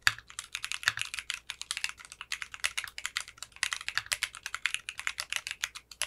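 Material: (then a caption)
Polycarbonate. A compact 60% mechanical keyboard with clear pink polycarbonate keycaps and a translucent case is typed on continuously with fingertips. It gives a steady stream of about forty quick, bright, crisp clacks with almost no low-end thump. Each keystroke dies away almost instantly.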